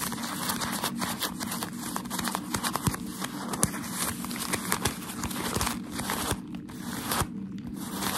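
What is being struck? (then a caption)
Wad of thin packaging paper. A wad of thin, crinkled white shoe wrapping paper is held in both hands and rubbed and scratched with fingertips and short nails. It gives a dense, continuous crinkling with many small sharp crackles and brief louder snaps. Its bright, airy texture sits over a soft low hum.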